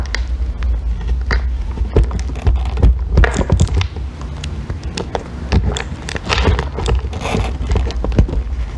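A metal extractor tool scrapes and shaves a small remaining piece of solid green bar soap, held by fingers with long nails. Dense, crackly scraping and shaving bursts come in quick succession over a steady low hum, with brief brighter rasps as the tool bites into the soap.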